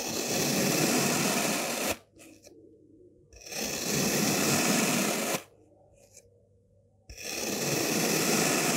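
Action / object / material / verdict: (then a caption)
scrape / molded kinetic sand block / kinetic sand / none. A white-bladed knife slices horizontally through a solid, green, star-shaped block of molded kinetic sand, cutting it into slabs. Three long, bright, grainy scraping passes are heard, each followed by a near-silent pause.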